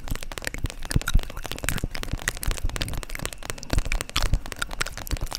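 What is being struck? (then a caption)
Flexible vinyl zip makeup pouch. A flexible, iridescent holographic PVC/vinyl zip makeup pouch is tapped and scratched with long acrylic nails. The result is a dense run of crackly, crinkling taps over short, dull low thumps, each dying away almost at once.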